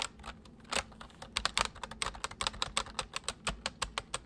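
Both hands type with their fingertips on a full-size white plastic mechanical keyboard with white keycaps, resting on a wooden desk. About two dozen quick, sharp, bright clacks come in an uneven run, each dying away almost at once with very little low thump.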